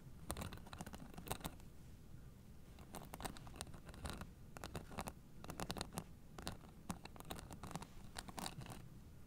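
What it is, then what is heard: Plastic-spiked acupressure mat being scratched. Long nails scratch the white plastic spike discs of a blue fabric acupressure mat held flat, making quick, dry scratching and crunching bursts. The bursts come in clusters with brief pauses between them over a low background rumble.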